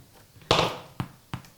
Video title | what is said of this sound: Mary's Cookin' Apple and Cinnamon Scrolls | the way that you can check to see that they're cooked on the inside is can you hear that little hollow sound